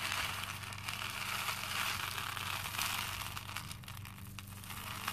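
Both hands scoop and rub small cream plastic faux pearl beads in a pink plastic bowl full of them. The beads clink and rattle in a dense, continuous, bright crackle, with a faint steady low hum underneath.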